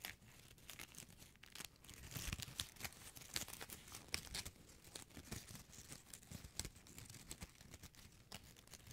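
A small gold metallic plastic ribbon gift bow is squeezed and crinkled with fingertips and nails. It gives a steady stream of soft, bright crackles and sharp crinkling snaps over a faint low rustle. The sound stays quiet throughout, with brief louder pops scattered across the clip.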